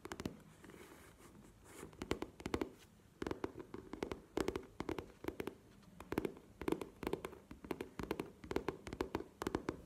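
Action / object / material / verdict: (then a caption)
tap / coated-canvas faux leather cosmetic pouch / coated canvas / none. Long nails tap and scratch an upright, hollow map-print faux leather cosmetic pouch of coated canvas. Quick clusters of dry, sharp clicks land over a soft scratching hiss. The taps have a hollow mid-low body around 300 Hz and die away almost instantly.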